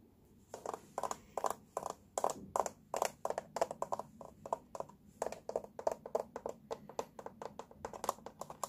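Fingertips and nails tap and scratch over the hollow teal molded plastic base of a baby walker and the paper warning label stuck on it. Dozens of quick, dry, hollow taps come in an uneven rhythm, each dying away almost at once, with light scratching between them.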